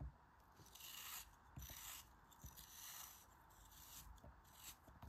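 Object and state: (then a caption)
Kinetic sand cut with a knife. A snap-off utility knife blade slices the corners off the remaining chunk of a solid pink kinetic sand cone held in hand. Each cut gives a crisp, crumbly, bright scraping crunch over a soft low rumble, with short sharp ticks between the strokes.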